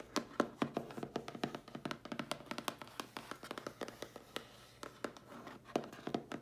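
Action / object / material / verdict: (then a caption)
tap / cardboard mailer box / cardboard / none. Long, dark-polished nails rapidly tap and scratch the lid of a closed, hollow, medium-sized dark grey printed cardboard mailer box with a round logo on it. The result is dozens of quick, dry, hollow taps that die away almost instantly, with bright clicky edges and soft scratching in between, all at a fairly quiet level.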